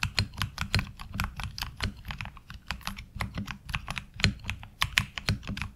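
Both hands type with the fingertips on a HyperX Alloy Origins Core tenkeyless mechanical keyboard fitted with ABS double-shot SA keycaps. A quick, uneven run of short, sharp keystrokes comes through, each a bright clack over a low thock. Every key dies away almost at once.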